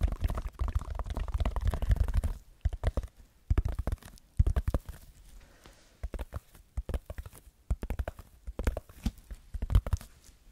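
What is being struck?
Textured foam sheet.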